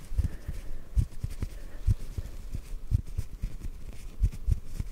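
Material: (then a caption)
Cotton. A small white cotton ball held in the hands is tapped gently with the fingertips. The result is a quick, irregular series of very soft, muffled low thumps with almost no high content, each dying away almost at once.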